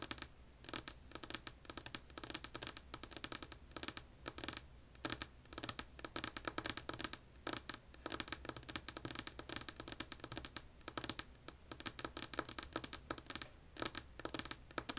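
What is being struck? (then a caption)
Wooden tabletop. Long polished nails tap and scratch a solid, flat, light wood-grain wooden tabletop. The result is a quiet, rapid stream of crisp, bright clicks and scratchy strokes that die away almost instantly, with little low end.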